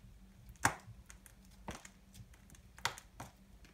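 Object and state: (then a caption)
Dry bar soap. A small knife blade shaves a solid, dry pastel soap ball held in the fingers into crumbly chips. Sharp, dry scraping cuts sound in short bursts, two louder strokes standing out against a faint steady low hum, with brief fainter scratches between them.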